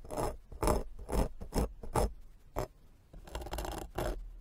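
A white plastic fork's tines scratch across a black foam microphone windscreen in a series of short, rhythmic scraping strokes, then a longer continuous rub near the end. Each stroke is a soft, rustling scrape with a deep low thump and a bright, fizzy crackle on top.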